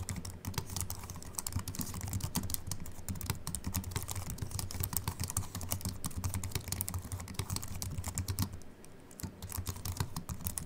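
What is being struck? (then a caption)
Slim keyboard with aluminium body and plastic keys. Both hands type continuously with the fingertips on a slim Apple Mac keyboard with an aluminium body and white plastic keys. The result is a dense stream of short, bright key clicks over a steady low hum. The typing eases briefly near the end before picking up again.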